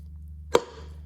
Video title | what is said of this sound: Chevrolet Silverado Transmission Installing - How to Seat the Torque Converter - 8 speed - 8l90 | You want to hear that solid sound when the converter's all the way back.